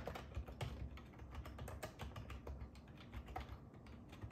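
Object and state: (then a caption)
Plastic computer keyboard being typed on. Fingertips type continuously on the hollow keys of a black and silver ergonomic plastic computer keyboard resting on a wooden table. A steady stream of soft, quick taps is heard, with dull, low-heavy thuds and short clicks that die away fast.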